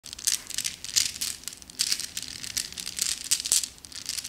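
A handful of small, solid, flat glass gems in a net mesh bag is held in both cupped hands with long nails and shaken, so the gems rattle against each other. The result is a run of bright, high clinking and crinkly rattling bursts with almost no low end, each dying away quickly.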